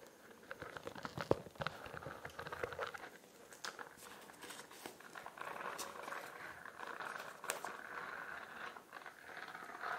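Long nails scratch and tap the bumpy, studded iridescent plastic cover of a spiral notebook. The result is a quiet, continuous run of crinkly scratching with soft, short taps, mostly in the mid range with occasional brighter clicks.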